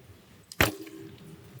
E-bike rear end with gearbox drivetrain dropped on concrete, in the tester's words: you can just hear how quiet it is I can just hear the sloshing of the water and the tire hitting the concrete there there's no slapping noise